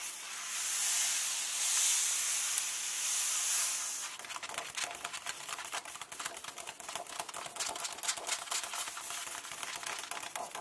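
Fingertips with long painted nails and flat hands rub across the text pages of an open hardcover book lying on a table, making a steady, bright papery hiss. The rubbing then gives way to rapid, irregular nail taps and scratches on the paper, heard as a dense run of sharp, high clicks.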